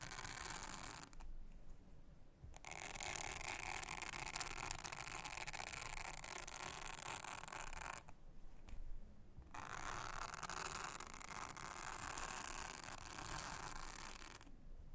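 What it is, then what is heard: Silicone honeycomb trivet mat being brushed. A soft toothbrush, held in a hand with long nails, brushes across a thin, solid, flat, round blue silicone honeycomb trivet mat. The result is a steady, bright, bristly scratching hiss that pauses briefly three times, around 1–2.5 seconds, 8–9.5 seconds and near the end.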